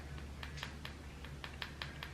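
A series of light, sharp clicking taps on acrylic dip powder nails a few minutes after the seal-and-protect coat was applied, over a steady low hum. The hard tapping sound means the coating has hardened and the nails are ready to buff.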